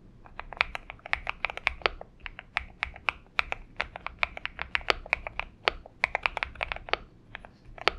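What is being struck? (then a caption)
Mechanical keyboard with plastic keycaps. Fingertips of both hands type on a purple Xinmeng M71 mechanical keyboard with PBT keycaps. About forty quick, dry keystrokes land in an uneven typing rhythm, each a bright, sharp click with almost no low end and no ringing tail.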